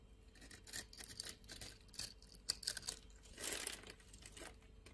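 A hand-sized solid orange bar of soap held in the palm is scored and sliced with a metal utility knife blade. Quiet, bright, scratchy scraping strokes come in short bursts with a few crisp clicks, and a longer rasping cut swells in the middle before the scraping tapers off.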